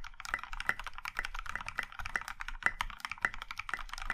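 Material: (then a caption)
Plastic. Both hands type with their fingertips on a compact Iron 165 mechanical keyboard in a plum-maroon metal case with dark grey and pink plastic keycaps. A quick, steady run of crisp clacks is heard, each keystroke a short, bright tap with a little low thump underneath.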